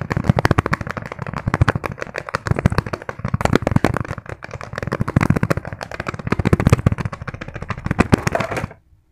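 Fingertips rapidly tap and scratch a small, padded green fabric pencil case with a zipper. The result is a dense, continuous stream of soft, dull taps mixed with light scratchy rustling, which stops abruptly near the end.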